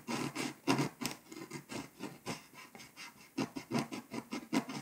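A pink scraper tool scratches the remaining foil off Hungary on a flat, foil-coated paper scratch-off map, close up. A series of short, raspy scraping strokes comes in quick bursts, with a mid-low body around 200–300 Hz and a bright, hissy edge. Many separate strokes are heard in a steady rhythm, with brief pauses between them.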